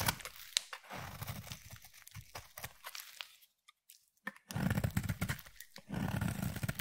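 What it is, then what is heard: Bar of soap being shaved. A utility knife blade shaves curls and flakes off a solid peach bar of soap. Dry, rasping scrapes come in a quick series of short strokes, go quiet for about a second, then return fuller and louder.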